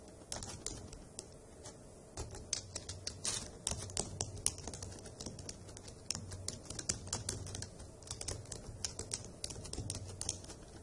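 Long acrylic nails and fingertips type on the hollow key caps of a dark grey plastic laptop keyboard. The result is a steady run of quick, bright clicks and sharp nail taps that stop at once, over a soft low thud from the keys bottoming out.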